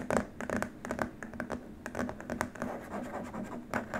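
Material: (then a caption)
Plastic. Both hands scratch the surface of a long, flat white plastic keyboard wrist rest with short nails. The result is a quiet, uneven run of dry, brushy scratches and sharp little clicks, with brief bright bursts over a faint low hum.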